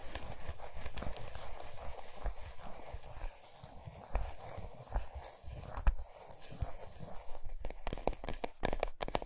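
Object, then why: Chocolate bar. Long nails and fingertips tap the flat, smooth back of a large solid milk chocolate bar resting on a towel. The result is a quick, uneven run of soft, dull taps and muted low thuds, with some crisper nail clicks and faint rustling in between.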